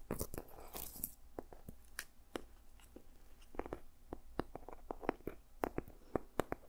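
Fingertips and nails tap and scratch the ridged, dried seed pod cover of a small, solid journal. A burst of dense crunchy scratching at the start gives way to a series of short, crisp taps with bright clicky edges that stop almost instantly.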